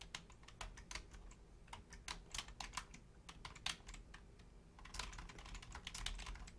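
Long painted nails and fingertips type on a full-size black plastic Logitech keyboard with low-profile keys. Quick, bright clicks and taps fall in irregular bursts, each dying away almost instantly, over a faint low rumble. The typing grows denser and steadier toward the end.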